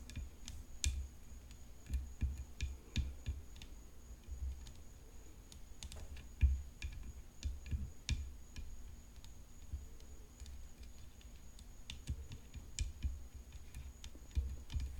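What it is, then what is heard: Tennis racket frame tapped with nails. Long fingernails tap a hollow composite tennis racket frame decorated with rhinestones as it rests on black cloth. Irregular, quiet taps give short, dull low thumps with bright clicks on top, each dying away quickly. A steady low hum around 66 Hz and a faint high whine run underneath.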